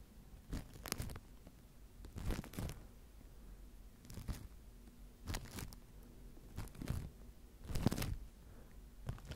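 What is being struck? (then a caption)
Microphone covered in plastic wrap, brushed with a bristle brush. A wooden-handled natural-bristle face brush is brushed across a microphone tightly covered in clear plastic wrap. Repeated short bursts of crinkling, tearing-like scratches sound over a low, dull rumble. The sound is mostly deep and muffled, with faint bright edges.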